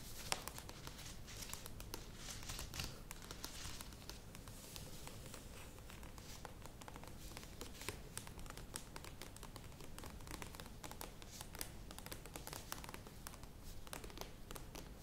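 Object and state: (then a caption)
Plastic yogurt tub. Long nails scratch and tap the printed plastic walls of a medium plastic yogurt tub standing upright. The result is a quiet, steady stream of dry crinkly scratching, dotted with short, sharp, bright taps that die away almost instantly over a low background hum.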